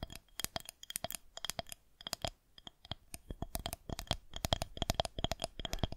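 Long nails tap and scratch a smooth white plastic rolling pin held horizontally, making a quick, uneven run of crisp clicks. Each tap carries a faint ringing tone and a bright tick, with light scratchy rubbing between the hits.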